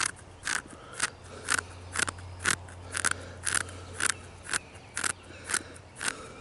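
Short fingernails scratch and pick at the deep crevices of furrowed grey bark on a large, solid tree trunk, up close. Thirteen brief, dry crackling scrapes come at a roughly steady pace of about one per second, each bright and crisp and stopping at once. A faint low hum sits underneath throughout.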